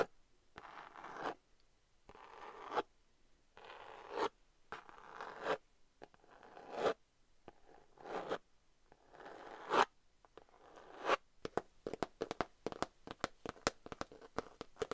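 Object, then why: Glitter-coated cardboard eyeshadow palette. Long nails scratch across the front and back of a rose-gold glitter cardboard eyeshadow palette, producing raspy, zipper-like strokes that swell and end in sharp catches. Near the end the strokes give way to a quick run of short, crisp scratches and ticks. The sound is quiet and centred in the midrange, with little low end.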